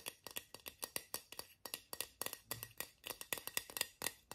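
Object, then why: Small aluminium aerosol spray can. Fingernails scratch and tap along the printed body of a small hollow Borotalco aluminium aerosol deodorant spray can with a plastic cap. It makes a quick, irregular run of about 27 light, bright metallic clicks with almost no ring, plus faint scratching between the taps. The sound is thin and crisp, with very little low end.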